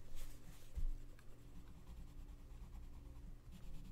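A gloved hand colors in a mandala on an open paper coloring book lying flat, rubbing and scratching the page with the tip of a wooden colored pencil. Quiet, continuous scratchy strokes with a soft low rumble run through the clip, with a slightly louder stroke near the start.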